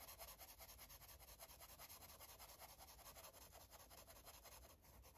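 A light blue felt-tip marker rubs and scratches across the page of an open paper coloring book lying flat on a table. The strokes make a fast, uneven run of soft, bright, papery swishes with a steady low background hum underneath.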